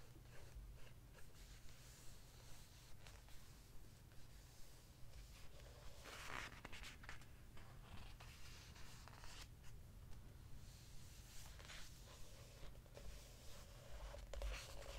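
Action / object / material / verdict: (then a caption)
scrape / hardcover book with glossy paper pages / glossy paper / none. A hand rubs across a glossy paper page of a large open hardcover historical landmark news book, then lifts and flips the page and rests a palm on the new spread. Soft, papery rustles and brief bright swishes of the turning page come through quietly over a steady low hum.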